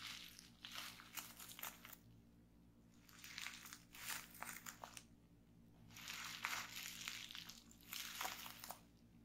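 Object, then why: Plastic bubble wrap. Fingertips with long nails press and pop the bubbles in a folded bundle of clear plastic bubble wrap resting on a table. Bursts of bright, crackling pops and crinkles come in three clusters, separated by brief quiet pauses.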